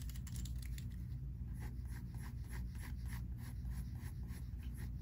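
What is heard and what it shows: A pink mechanical pencil held in the fingertips scratches and shades on a thin, flat paper sheet of a large spiral-bound sketchbook resting on a wooden table. Quiet, bright, papery strokes repeat in quick rhythmic bursts over a steady low hum.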